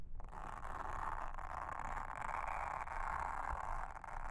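A pink mascara spoolie brush, held in a hand with long red nails, brushes and scratches across a round blue silicone trivet mat with a honeycomb texture, lying flat and solid on a table. The result is a steady, continuous scratchy rustle centered in the midrange around 1 kHz, over a soft low rumble.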